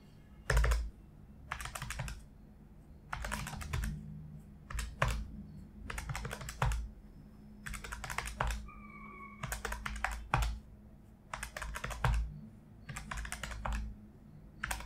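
Fingertips of one hand tap the raised keys of a large, solid-bodied plastic desktop calculator lying flat on an office desk, pressing in quick succession. Bursts of rapid, crisp clicking alternate with short pauses over a steady low hum, and a brief steady tone sounds partway through.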